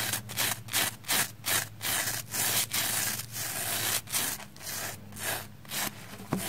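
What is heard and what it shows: A small black spoolie brush is stroked along the side of a red, porous, soapy plastic foam sponge held on its edge. It makes a series of bright, wet, hissing scrubbing strokes at a steady but loose rhythm, with a faint low hum underneath.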